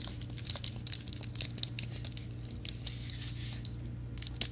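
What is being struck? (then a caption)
Plastic and aluminum wireless keyboard. A slim white plastic and aluminum wireless keyboard is held flat, then upright, while fingertips and nails tap and scratch its keys. The result is a run of quick, bright, crisp ticks and scratchy, crinkling strokes over a steady low hum.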